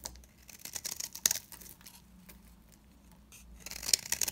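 A large, round, cream-colored bar of dry solid soap is held in the hand and carved and scraped with a utility knife blade, sending chunks and curls falling. Crisp, bright scratching and crackling bursts come in quick clusters with one sharp snap, fade to a quiet lull, and then pick up again in a dense run of dry, crunchy scrapes at the end.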